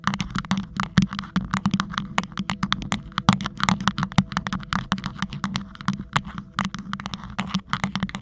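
A tall, hollow, green rhinestone-studded sleeve with a silver fuzzy band at its base, fitted over the head of a Blue Yeti microphone, is rapidly scratched and tapped with the fingertips and nails of both hands. Dense, quick clicks and crackles ring out over a steady low hum near 190 Hz, and each tap dies away almost instantly. The brisk, uneven patter continues for the whole clip.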